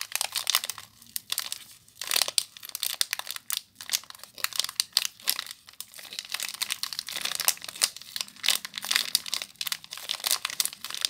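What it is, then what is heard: Plastic-wrapped soap bar. A small soap bar in clear plastic wrap is crinkled and squeezed by fingers and long nails, then cupped in the hands at the end. Dense, bright crackling and crinkling comes in quick bursts with sharp snaps and almost no low end.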